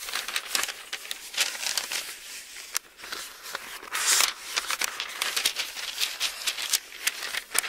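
Fingers lift and turn the thin pages of an open Bible, and a page crinkles as it is folded over. The result is a steady run of bright, dry paper rustles and crisp crackles, with a louder, hissy crinkle about midway through.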